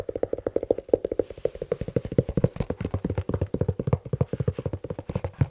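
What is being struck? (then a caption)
Leather shoe. A leather shoe is tapped quickly with the fingers in a rapid, uneven stream of short, dry knocks, about four per second. Each tap is a dull, hollow thump centered around 480 Hz with a deep low body, dying away almost instantly with no ring.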